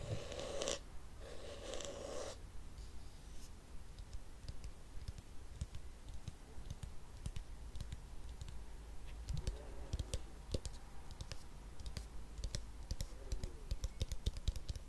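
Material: Plastic.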